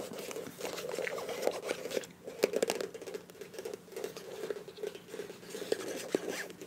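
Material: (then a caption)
Soft plastic. Long nails scratch and tap the body of a filled beige plastic face wash tube with a bronze cap. The result is a steady stream of soft, dry crinkling and scraping with quick crisp taps centred in the low mids around 410 Hz. The sound is quiet, with brief brighter clicks that die away instantly.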